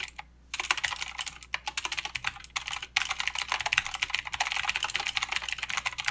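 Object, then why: Mechanical keyboard with plastic keycaps. Fingertips type on a mechanical keyboard with plastic keycaps and clicky blue switches, the right hand moving over to the arrow and numpad area. Bright, sharp clicks come in quick bursts with a few short pauses, then a steady run of fast keystrokes.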